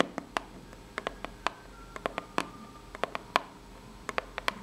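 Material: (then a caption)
Cardboard. Long nails scratch and tap the ribbed surface of a small, hollow, brown corrugated cardboard box. The result is a quick, uneven series of short, dry, bright taps that die away almost instantly, with faint scratching between them over a quiet background.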